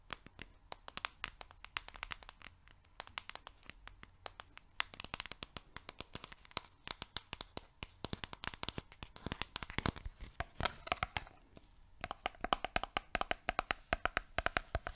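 A yellow cylindrical cardboard canister of oat flakes, hollow and apparently filled, is held in both hands close to the mic, tapped with long nails and shaken so the flakes rattle inside. Quick, dry, bright clicks and scratchy rattling run without pause. Toward the end the taps grow louder and take on a hollow, slightly ringing tone.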